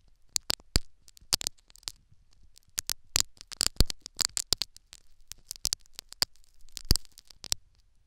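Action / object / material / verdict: scrape / foam sponge plug in a silicone ear microphone / foam / none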